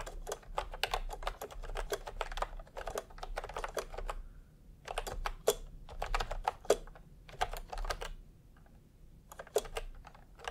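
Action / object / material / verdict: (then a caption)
tap / plastic keyboard with round keycaps / plastic / none. A full-size pastel typewriter-style keyboard with round plastic keycaps in a hollow plastic case is typed on continuously with the fingertips of both hands. The result is rapid bursts of hollow, clacky keystrokes with short, dry clicks, broken by brief pauses between runs.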